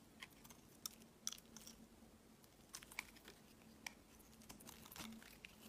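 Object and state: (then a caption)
Glycerin soap bar being shaved. A utility knife blade shaves long curls off a solid, palm-sized, oval translucent green glycerin soap bar. Quiet, bright, crisp crackling and scraping ticks come in short bursts over a faint steady low hum.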